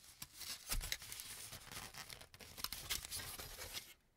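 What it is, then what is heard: Aluminum cooking foil. A large crumpled sheet of aluminum cooking foil is held up in both hands, then crinkled, pulled and rubbed with the fingertips. It gives a dense, bright crackling with sharp snaps and a low rustle underneath, and fades to near silence at the end.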